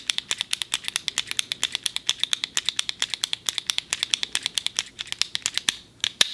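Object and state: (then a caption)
Retractable plastic ballpoint pen clicking. A small, slim, hollow black plastic retractable ballpoint pen is held upright in a fist while the thumb repeatedly presses its top button to click the mechanism. About fifty short, bright, dry clicks come in a rapid, steady stream, each dying away almost instantly, with a brief pause near the end before a few final clicks.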